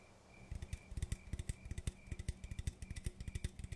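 An aluminum coffee can is tapped in quick, uneven bursts of short, dull knocks with a low body and a faint bright metallic edge. The taps die away almost instantly over a quiet background, and they are tapped to calm down.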